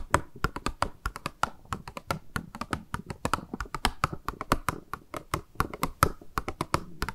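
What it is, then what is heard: Plastic wrapping around a sponge. Long nails squeeze and scratch the thin, clear pink plastic packaging wrapped around a round makeup sponge. About forty quick, sharp crinkling taps and clicks sound in an uneven rhythm, each dry and dying away almost at once. Soft scratchy rustling fills the gaps between them.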